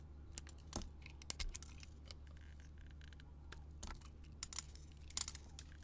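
A solid, hand-sized pink soap bar coated in red with sugar beads on it is held in the hand and carved and scraped with a metal utility blade. Quiet, bright scratchy cuts and crisp crackles come in short bursts over a steady low hum.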